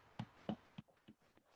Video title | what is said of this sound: Round Holiday Challah | it's supposed to sound hollow, and that's how you know it's done.